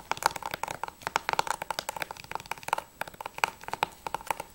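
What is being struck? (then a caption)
Plastic game case. Long nails tap fast on the back cover of a closed, hollow plastic PS3 game case for Journey, making a quick run of about 25 sharp, dry clicks. Each click has a light hollow plastic knock around 880 Hz with bright edges and dies away almost instantly, with little low end.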